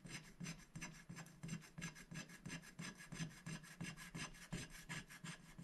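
A wooden stick scratches the black coating off a thin, flat paper scratch-art sticker sheet lying on a glass board, in short, fairly regular strokes. Each stroke gives a dry, raspy scrape with a low body and bright, papery grit, repeating at nearly three strokes per second.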